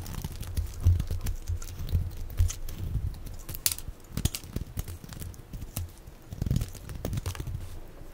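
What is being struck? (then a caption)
Bar of soap. A utility knife blade scrapes and shaves thin flakes off the edge of a hand-sized, solid bar of dry light-blue soap held in the hand. Quick, crisp scraping strokes with brief bright ticks sit over a low, soft rumble, and each stroke dies away almost at once.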